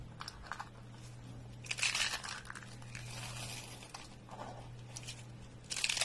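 A hand grabs rolled, thin, dry pale green soap spirals and flakes and crushes them in a fist. The result is bright, dry, crinkly crunching that comes in bursts, loudest near the start of the second second and at the very end, over a faint steady low hum.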